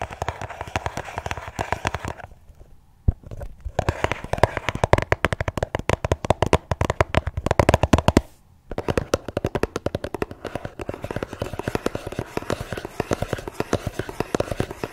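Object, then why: Small cardboard gift box. Long nails rapidly tap the lid of a small, hollow, red floral cardboard gift box resting on a tablet. The result is a dense run of short, dry, hollow clicks with a low body, broken by two brief pauses near 2.5 and 8.5 seconds.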